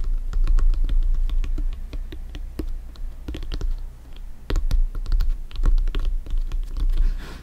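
Fingernails scratch and fingertips tap across the top panels of a blue, stitched synthetic-leather soccer ball that is hollow and inflated. An irregular run of quick taps and scratchy strokes with a low, hollow thump underneath dies away fast after each touch.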